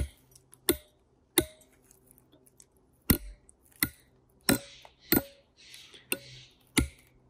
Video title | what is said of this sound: Doug Robinson - Father of clean climbing gives away the dirty secrets | hear the sound going down